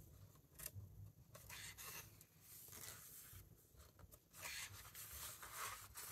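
Fingertips lift, turn and rub the matte paper pages of a large open hardcover book. Soft, dry papery swishes and rustles come in bright, hissy bursts over a faint low rumble, growing louder and fuller toward the end.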